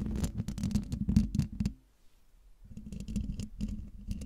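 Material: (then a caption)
Metal mesh. Long dark nails of one hand lightly scratch the side of the hollow metal mesh grille on a silver Blue Yeti microphone. Dense, rapid scratching comes with a low, hollow rumble and brief bright crackles. The sound pauses into near silence for about a second, then resumes at a similar pace.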